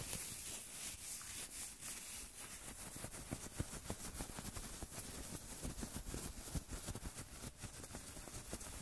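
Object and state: Nothing is struck.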